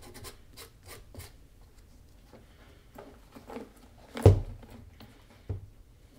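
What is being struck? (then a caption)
Leather shoe sole edge. A small piece of sandpaper is rubbed along the solid leather sole edge of a black leather Magnanni double monk shoe, held tilted in one hand. Seven short, dry rasping strokes are heard, each a soft, low-weighted scratch with a brief bright edge. The sixth stroke is clearly the loudest.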